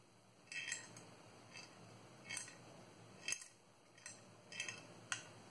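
Long manicured nails tap a small, hollow, transparent hard plastic cube-shaped box held in the hands, nearly empty except for a small green item inside. Sharp, bright clicks come in short irregular bursts with quiet pauses between them. Each tap dies away almost at once over a soft background hiss.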